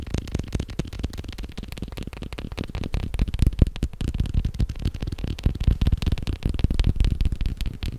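A leather belt is tapped quickly and continuously. The taps are dull, short thuds with little ring, mostly low in pitch, and they come in a fast, uneven stream with only faint high crackle.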